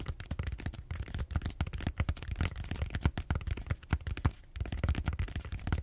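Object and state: Styrofoam foam roller.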